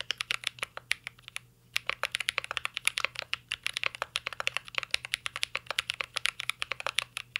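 Fingertips type continuously on a mint-green Cyberboard R3 mechanical keyboard with plastic keycaps and a metal case. Quick, bright, clacky key taps with almost no ring follow one another in a steady stream, broken by one brief pause near the start.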